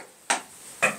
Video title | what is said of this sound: FULL HOME TOUR: I bought this problem house but NEED YOUR DIY IDEAS! | it sounds solid unless it was designed as a seat